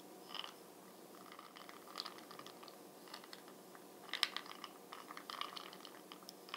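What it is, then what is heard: Plastic jar lid tapped with fingernails. Long fingernails tap rapidly on the brown glossy plastic lid of a small, hollow Bronze Booster jar full of beads. The quiet taps come as dry, bright clicks that ring around 3.2 kHz, in irregular bursts with a faint crinkly rattle. Each click dies away almost at once, with almost no low end.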